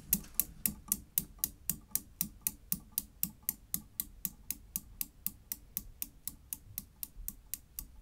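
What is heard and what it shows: A Newton's cradle with five solid chrome steel balls swings, giving 33 sharp, bright metal clicks of ball striking ball at a steady, quick pace. Each knock is very short with almost no ring, and the clicks soften slightly over the stretch.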